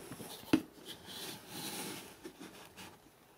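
Fingertips and short nails tap the spine of a thick hardcover book printed "NEW YORK" that is held in the hands. One sharp, dry knock with a low body around 316 Hz stands out, dying away almost instantly. It is followed by faint, soft rubbing and lighter taps.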